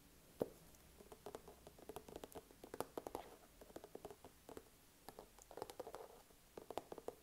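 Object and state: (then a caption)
Soft plastic squeeze tube. A small, soft plastic skincare tube is held upright in one hand and tapped and scratched with fingertips and short nails. The result is a quiet, irregular patter of short, dry, hollow taps with a mid-pitched resonance. Soft scratching passes run between the taps.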